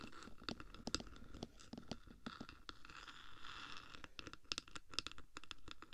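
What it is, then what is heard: Metal microphone case tapped and scratched. Long black nails tap and scratch the top surface of a hollow black metal 3Dio microphone housing, using one or both hands. Quick, crisp taps with bright metallic clicks are scattered through a steady bed of dry, rustling scratching, with very little ring after each tap.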